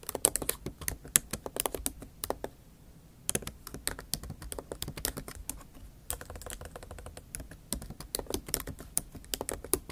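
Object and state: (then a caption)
Laptop keyboard with plastic keys. Long acrylic nail tips tap and type across the black plastic keys of a MacBook Pro keyboard set in a silver aluminum laptop body. The result is quick, bright, dry clicks in irregular bursts with a short pause near the middle. Each click dies away almost instantly.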